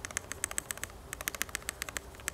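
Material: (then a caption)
Metal, foam. Typing on a Geon Frog budget TKL mechanical keyboard with a metal case and a top-mount design, built with PCB foam and case foam. Rapid, short, bright keystroke clicks patter at an uneven rhythm with almost no ring. The foam gives it a full rather than hollow sound.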